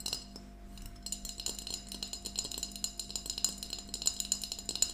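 A small, empty glass mason jar mug with a yellow plastic lid stands on a table, held between both hands and tapped with long nails. It gives a quick, steady stream of light, bright clicks that die away almost instantly, with almost no low end and a faint steady hum underneath.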